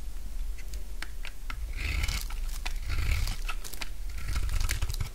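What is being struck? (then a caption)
Bar of soap cut with a blade. A solid light green bar of dry soap, held in the hand, is shaved with a utility knife blade. Short crisp scraping and cutting crunches repeat throughout, some gathering into brighter rasping strokes over a low rumble.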